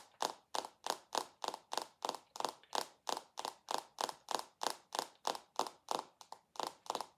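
A rectangular dark glass perfume bottle is held in one hand and tapped with the long acrylic nails of the other hand. About 24 short, bright clicking taps come at roughly three per second in a slightly uneven rhythm. Each tap has a faint glassy tone and dies away almost instantly.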